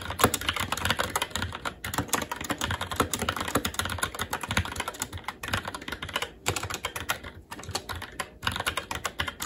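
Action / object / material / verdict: tap / mechanical keyboard, plastic keycaps on metal plate / plastic / none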